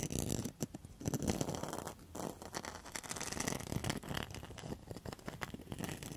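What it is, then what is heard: Rattan and mosaic coaster. A round rattan and mosaic coaster is held up while long metal nail tips scratch along its rattan rim. The result is a dense run of quick, dry rasping scrapes and crackles, with a bright, grainy edge over a low rustle.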